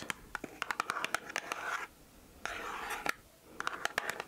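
Long nails tap and scratch a full, small red cardboard box of Lindor chocolates (36 g). Quick, dry, bright clicks come in clusters, broken by two longer rasping scratches across the cardboard. A sharp tap lands at the end of the second scratch.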